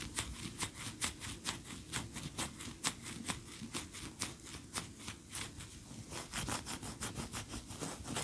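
A large cream solid wax pillar candle standing upright is tapped and scratched with long nails. The clip is a quick, irregular run of short, dry, bright clicks and scratches over a soft low rumble, with each tap dying away almost at once.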